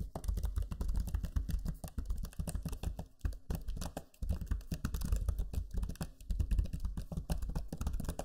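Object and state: Plastic laptop keyboard.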